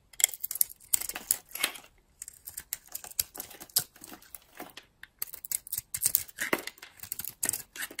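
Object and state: Dry bar of soap being carved.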